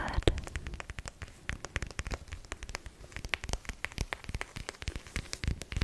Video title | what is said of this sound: ASMR CALM & RELAXING TRIGGERS FOR SLEEP! 😴 | Mon son préféré est celui que fait le côté du livre lorsque je tape dessus.